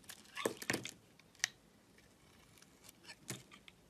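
A utility-knife blade slices and scrapes a thin layer off the green side of a solid striped Palmolive soap bar held in a hand with long red nails. Quiet, crisp scraping and cutting sounds come in short, bright bursts with little low end. Each one dies away almost at once, leaving faint gaps between them.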